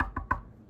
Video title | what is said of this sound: Polk Signature Elite ES15 Bookshelf Speaker Disassembled | that sounds very dead to me. Very not hollow.